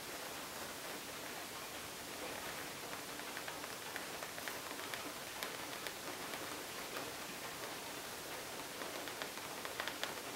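Long nails scratch the surface of a medium metallic pebbled faux leather zip makeup pouch held in the hands. The result is a quiet, steady, dry scratching hiss, mostly bright with almost no low end, dotted with small crisp ticks.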